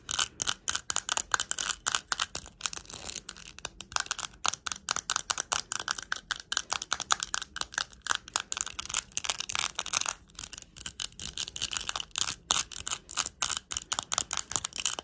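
Long nails tap and scratch a small round plastic compact covered in plastic rhinestones. The result is a steady, rapid stream of short, bright clicks and scrapes with no ring, mostly high-pitched with almost no low end.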